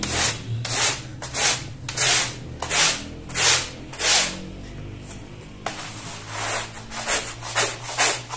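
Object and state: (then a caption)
Woven fabric rug being scrubbed. A long-handled plastic-bristle brush repeatedly scrubs a small, wet, muddy woven fabric rug covered in lather on a tile floor. Each stroke makes a bright, hissing, wet rasp in a steady back-and-forth rhythm, with a brief pause in the middle before the scrubbing resumes.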